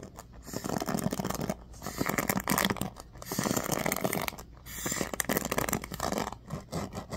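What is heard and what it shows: A bamboo paddle hairbrush with a black pad and ball-tipped pins is gripped while fingers scratch across the bristles. The result is dense, crackly scraping in several long bursts separated by brief quiet gaps.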